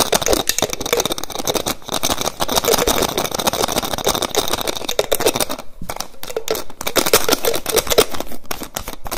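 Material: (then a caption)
Plastic. Fingers quickly tap and twist the white plastic cap of a small clear plastic bottle held close to the mic. The result is a fast, dense stream of sharp plastic clicks and crackles with a bright, rattling edge and a faint mid-pitched tone. It stays loud and busy throughout, with only brief dips.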